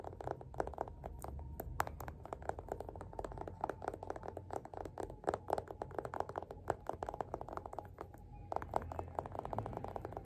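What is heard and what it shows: Fingertips tap quickly along the spine and page edges of a solid, closed yellow paperback copy of *Othello* held in one hand. The result is a steady stream of soft, dry, short taps with a mid-range, papery knock over a faint low hum.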